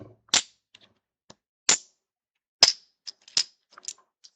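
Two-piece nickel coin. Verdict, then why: Hollow. A hollowed trick "magic" nickel, made of two halves that don't line up when flipped over, is dropped and handled, giving four bright, sharp clicks and several fainter ticks with almost no ring. The dry, thin sound marks it as a hollow trick coin rather than a normal nickel.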